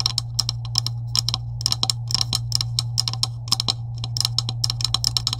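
Long pointed acrylic nails tap quickly and irregularly on a green plastic pipe section with wider coupling sleeves on both ends, lying on a white table. Each tap is a short, dry, bright click that dies away almost at once, some landing in quick flurries. A steady low hum runs underneath throughout.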